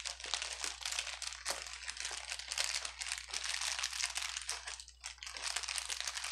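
A clear plastic bubble wrap sheet lying on a table is pressed and rubbed with the fingertips of both hands, giving a continuous, dense, bright crinkling full of quick crackles that fade almost instantly. The sound sits almost entirely in the high range, with a faint steady low hum underneath.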